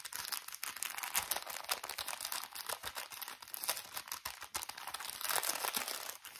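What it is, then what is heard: Plastic bag of cotton pads. A small, thin plastic drawstring bag full of cotton pads is crinkled and tapped with fingertips. Dense, bright crinkling runs throughout, broken by quick, crisp taps. There is almost no low end.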